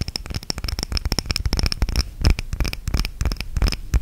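A small clear glass candle holder, a jar filled with red wax, is held close to the microphone and tapped and scratched with long red-painted nails. A rapid, uneven stream of sharp clicky taps with a bright glassy ping mixes with scratchy rasps, each tap carrying a dull, boomy low thump from the close microphone.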